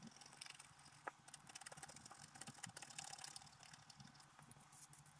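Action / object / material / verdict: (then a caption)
scrape / coated scratch-art paper scraped with a wooden stylus / coated paper / none. A thin wooden stylus scratches away the black coating of a flat scratch-art card with a holographic color base, in repeated short strokes while the other hand steadies the sheet. The result is a quiet, bright, dry scratching made of many quick strokes with almost no ring, including one sharper tick about a second in.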